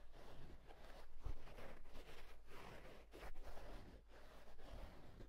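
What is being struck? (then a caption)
Wool tweed hat. Fingertips rub and scratch the inside edge of the hollow, soft crown of a green and black houndstooth wool tweed fedora. The result is a steady, quiet, rough scratching texture with a few slightly louder swells and a faint low rumble underneath.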